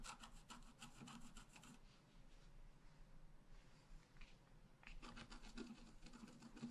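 A wooden stylus scratches across a flat, black-coated scratch-art paper card, working on the left side and the upper flowers. Quick, dry rasping strokes come in a bright burst at the start, fade to a soft, faint scrape in the middle, then return as another run of brisk scratches at the end.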